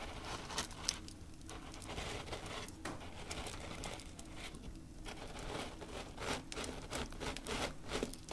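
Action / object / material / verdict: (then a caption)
scrape / coarse salt crystals on a tray / salt / none. Both hands, using fingertips and short nails, rub, press and spread through a layer of coarse, loose pink salt crystals (likely bath salt) on a black tray. The result is a continuous gritty crunching and crinkling with bright, scratchy scrapes and soft patter, in quick uneven bursts of grainy texture.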